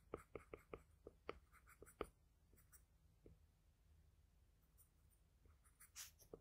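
A wooden graphite pencil tip strokes across a sheet of flat drawing paper while drawing a nose and lips. Short, dry scratching strokes come in quick, uneven bursts, some with a faint bright edge, with quieter stretches and a few soft strokes between them. The sound stays quiet and close throughout.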